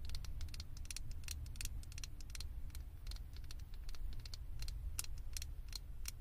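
Long acrylic nails tap and scratch a small, hollow, blue plastic Stitch-figure head fitted as a topper on a microphone. Quick, bright plastic clicks and scratchy taps patter over a steady low rumble, blending into a continuous, dense stream of sound.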